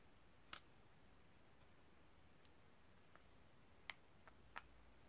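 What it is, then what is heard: Metal cigarette case. Long nails tap the inside of a small, hollow, empty silver metal cigarette case held open, and click its spring clip and hinge. Sharp, bright, very short clicks come at irregular intervals over a low steady hiss, with a long quiet gap before the last few cluster together near the end.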